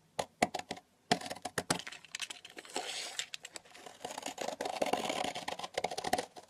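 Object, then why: Soap bar shaved with a metal knife. A metal knife blade shaves thin, curled slices off the edge of a long, solid pink soap bar lying on a table. Dozens of short, crisp clicks and cracks come in quick succession, with a tick near 700 Hz, between brighter crinkling, scraping stretches. Each cut ends abruptly with almost no ring.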